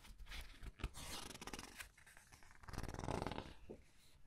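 A large open hardcover book with glossy paper pages rests on a white table while hands with long red nails lift, turn and flatten the pages. The paper gives soft, crinkly rustling and sliding swishes with light scraping, swelling into a fuller rub near the end before easing off.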